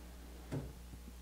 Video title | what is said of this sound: Final Details For a Chest of Drawers with Tom McLaughlin | hear that thump it's beautiful